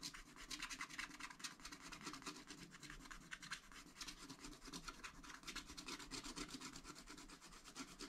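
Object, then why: Wax-coated scratch-art card scratched with a wooden stylus. A wooden stylus held in the fingers scratches away the black wax coating of a thin, solid scratch-art card in a spiral pad lying flat on a table, revealing colour underneath. Rapid, repeated short strokes make a dry, bright, raspy scratching that continues steadily throughout.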